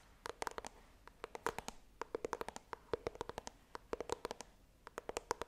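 Long nails tap rapidly on the printed front of a small, hollow white iPhone retail box made of coated cardboard, held upright. The dry, quick clicks come in uneven bursts, each with a hollow, mid-pitched knock around 460 Hz and almost no ring, over a faint quiet background.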